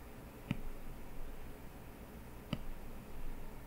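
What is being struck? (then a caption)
Glass tablet touchscreen tapped with a plastic stylus. A plastic stylus tip draws strokes on a flat-lying iPad glass touchscreen, tapping the glass twice with short, dry ticks about two seconds apart. Faint scratching of the strokes fills the quiet between the taps, and each tap dies away almost instantly.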